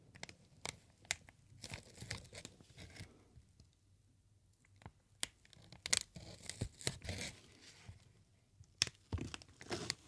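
A large green plastic air pillow packaging sheet with inflated cells is crinkled and squeezed by hands. Bright crackling and sharp snapping bursts come in irregular clusters, with a quieter pause in the middle of the clip. Each crackle cuts off almost instantly with no ringing.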